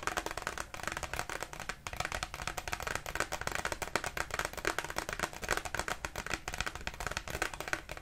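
A single thin, flat glossy paper Christmas greeting card showing a snowy village and a horse-drawn sleigh is held up in both hands and tapped rapidly with long pink acrylic nails. The result is a dense, steady stream of crisp, papery clicks with a bright, high edge. Each tap dies away almost instantly, with little low-end weight.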